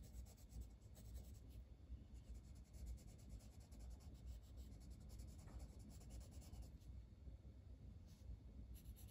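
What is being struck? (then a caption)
Wooden colored pencil on a paper coloring book page. A dark green wooden colored pencil colors a flat paper coloring book page in small strokes, its lead rubbing and scratching the paper. The sound is a quiet, continuous run of soft scratchy rubs with faint bright edges over a low, dull hum.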